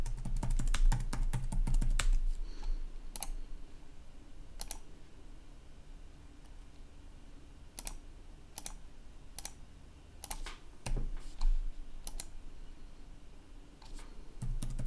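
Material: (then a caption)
Plastic. Fingertips type continuously on a red-backlit plastic laptop keyboard. A fast flurry of sharp plastic key clicks opens the clip, thins to scattered single taps through the middle, then picks up again in short bursts toward the end over a steady low hum.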